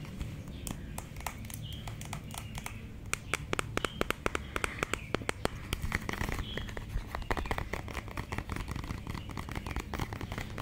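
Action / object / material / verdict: tap / plastic lipstick tube / plastic / none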